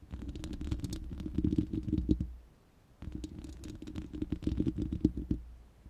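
Long manicured nails of both hands scratch and tap the hollow, uncovered round steel mesh grille of a large studio microphone. Rapid, dry clicks and scratchy taps come over a low, boomy resonance with a hollow tone around 300 Hz. The sound pauses briefly midway, then resumes in a second burst.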